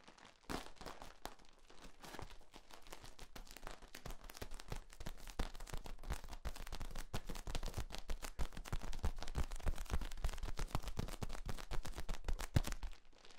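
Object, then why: Corrugated plastic tube. Hands grip the ends of a long, hollow, ribbed, flexible yellow corrugated plastic tube bent into a V and flex it. This produces a dense, irregular stream of sharp plastic clicks and crackles with a deep low-end thump beneath them. The crackling starts softly, then gradually builds in loudness before cutting off near the end.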